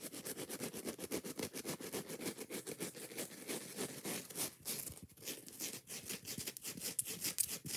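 Long nails rapidly tap and scratch a kitchen sponge, first its yellow foam side and then its green scouring pad. The result is a fast, uneven stream of bright, crackly scratches and soft taps with almost no low end.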